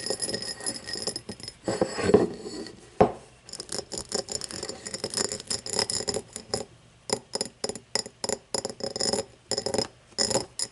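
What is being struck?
Cut glass tumbler.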